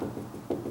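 A knock on the lower part of a tall, sagging hollow-core wooden door gives a muted, hollow thump centred around 350 Hz, with little high-frequency content and a short decay. This section of the door is hollow from this point down, unlike the solid part above.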